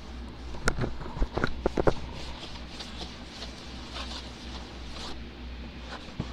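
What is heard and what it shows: Fingertips tap rapidly across the top of a closed, shrink-wrapped, medium-size hollow cardboard Trouble board game box lying flat on a wooden table. About six short, dull taps bunch together in the first two seconds over a steady low hum, followed by a softer papery patter and one last tap near the end.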